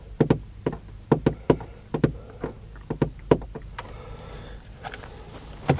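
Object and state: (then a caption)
Van body panel. A van body panel is tapped and knocked in quick, irregular bursts, each hit a short, dull, low-pitched thud that dies away almost at once. A stretch of quieter, hissy scratching runs in the middle before a final knock.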